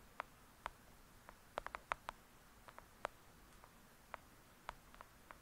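Long acrylic nails tap and scratch the cover of a thick, solid "Lady Midnight" paperback book lying flat. About fifteen quiet, dry, sharp clicks land at irregular intervals, with a quick cluster in the middle. Each click is bright and midrange with almost no ring, over a faint, hushed background.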